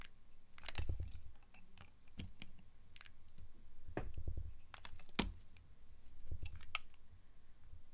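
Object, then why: Glycerin soap bar. A small, solid oval bar of translucent orange glycerin soap, held in the hand, is shaved and scraped with the blade of a yellow box cutter. Short, crisp scratching and clicking cuts with a bright edge sound over a soft, low rumble. Each cut dies away almost at once.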